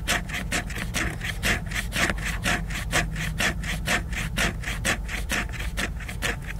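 Fingernails scratch vigorously back and forth across the glossy cover of a large, solid, flat laminated cardboard hardcover book. The strokes come as a steady rhythmic series of dry, raspy swipes, about two per second. Each swipe has a bright, hissy edge concentrated around 2 kHz over a constant low rumble.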